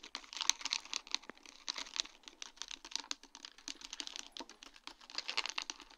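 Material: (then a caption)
Acrylic plastic. Long dark-painted nails rapidly tap a sheet of large, round, faceted acrylic rhinestones set on a plastic mesh backing. The result is a dense run of quick, bright, clicky taps with almost no ring, concentrated in the high frequencies and varying in loudness throughout.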